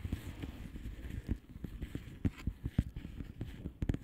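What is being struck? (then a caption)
Plastic bubble wrap mailer. Long painted nails of both hands tap and scratch across a blue plastic bubble wrap mailer lying flat. The result is a quiet, irregular run of soft, dull, low taps with short crackly scratching between them. Each tap dies away almost at once.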